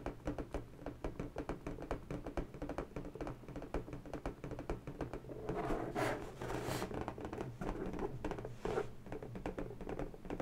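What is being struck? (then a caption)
Inflated latex balloon. Long bare natural fingernails tap rapidly on the surface of an inflated pink latex balloon, hollow and air-filled and held steady. The result is a dense run of short, dull, resonant taps with a low hollow body. Brighter, rougher bursts swell up around the middle and again near the end.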